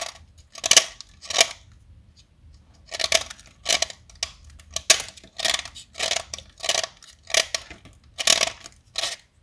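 A small solid light blue blackboard chalk stick, held in fingers with long pink nails, is carved and shaved with a metal utility knife blade. Thirteen short, bright scraping strokes are heard, separated by brief quiet pauses, with a dry, crisp texture and almost no ring after each cut.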